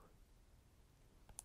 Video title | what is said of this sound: Best Value In Tech? Apple iPad 8th Generation Budget iPad Unboxing & First Impressions | when you tap on it there's supposed to be some sort of hollowness i'm not noticing any hollowness